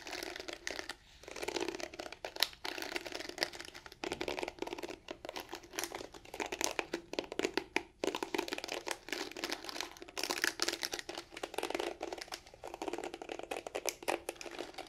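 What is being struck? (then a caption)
Plastic hairbrush bristle pad. Long nails scratch and strum across the dense black plastic bristle pad of a pink detangling hairbrush with a plastic back. The result is a steady, bright, crackly crinkling made of rapid dry ticks and short sweeps, with almost no low end and quick decay.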